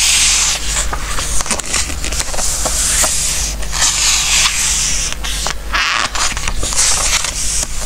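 Fingertips press and smooth the glossy coated paper pages of a large open Christmas book resting on a wooden table, then lift and turn a page. A bright, airy hiss of rubbing and sliding paper is heard, broken by short crisp crackles, over a steady low hum.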